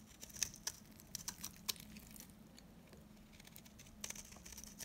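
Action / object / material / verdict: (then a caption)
scrape / bar soap cut with a small blade / soap / none. A small metal blade cuts and scrapes crumbly flakes off a solid, very dry, old, hand-sized bar of soap held in the hand, working in rapid short strokes. The sound is crisp, bright crackling with sharp, quickly ending clicks over a faint steady low hum.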